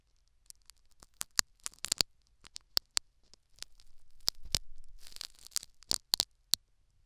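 A metal syringe needle scratches and picks at the foam plug inside a silicone dummy ear microphone. Sharp, bright crackling ticks and tearing-like snaps are heard, with a sustained scratchy rustle in the middle. The sound is crisp, high and close, with almost no ring after each pick.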